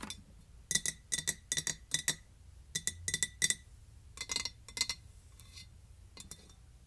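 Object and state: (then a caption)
Ceramic container. A ceramic container with a wooden top is tapped in quick clusters of bright, glassy clinks. The sharp taps stop almost at once, with a faint high ring, and grow softer and sparser toward the end over a low background hum.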